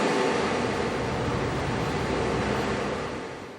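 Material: Nothing is struck.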